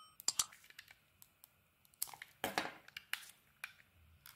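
A utility knife blade carves and scrapes thin shavings off a handheld solid purple bar of soap with coloured dots, exposing its white core. Quiet, bright, crisp scraping and crunchy clicks come in a series of short, dry bursts with almost no ring. A longer, denser scrape lands in the middle.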